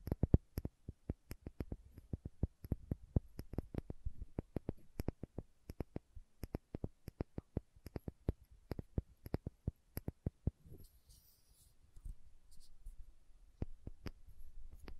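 Long nails rapidly tap the red plastic cap and body of a small, labeled glass condiment bottle that appears filled, making a steady run of dry, sharp clicks with no ring. After about ten seconds the tapping gives way to quieter scratching over the bottle, with a few scattered taps and faint high rasps.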